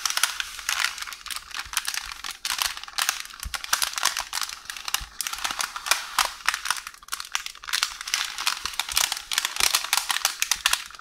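One hand with long orange nails scratches, taps and rolls a beige parchment baking paper roll with a loose sheet edge on the counter. It makes a steady, bright crinkling rustle with many quick, dry taps and scrapes and almost no low end.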